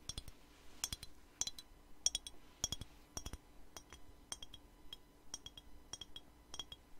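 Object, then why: Small glass perfume bottle with liquid. Fingernails tap a small clear glass perfume bottle with a black cap and liquid inside, held in the hand. The result is a quiet, irregular run of quick, bright glassy clinks, each with a short high ring that fades almost at once.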